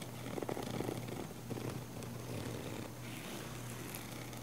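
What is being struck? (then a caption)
Padded nylon fabric camera case. Long nails scratch the fabric surface of a small, hollow, black padded nylon camera case with a yellow logo. The result is a continuous soft, raspy scratching over a steady low hum, with denser bursts early on and a quieter, even texture toward the end.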